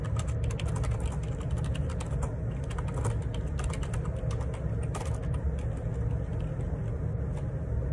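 Fingertips type steadily on the plastic keycaps of a black plastic Perixx Periboard 612 wireless Bluetooth dual ergonomic split keyboard resting on a grey desk. A fast, continuous stream of light key clicks and taps rides over a steady low rumble, keeping an even level throughout.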